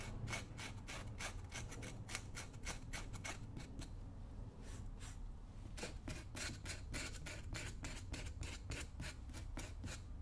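A small metal tool scrapes and scratches along the upper of a worn brown roughout leather work boot, worn on a foot and held by hand. Rapid, short, bright rasping strokes repeat over a steady low rumble, thinning out briefly near the middle before picking up again.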